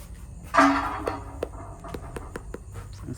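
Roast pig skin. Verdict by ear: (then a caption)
Crispy. Roast suckling pig skin is flicked with a finger to check whether it is crispy. A loud first snap with a brief low ring is followed by a string of lighter, sharp, dry clicks. The skin sounds crisp and cracks when picked at.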